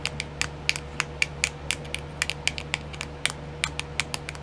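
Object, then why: Small clear plastic compartment wheel tapped with fingernails. Long nails tap and scratch on a small, round, clear plastic nail art compartment wheel that is filled. Quick, sharp, bright plastic clicks with a light scratchy edge come in an uneven, rapid series over a steady low background hum.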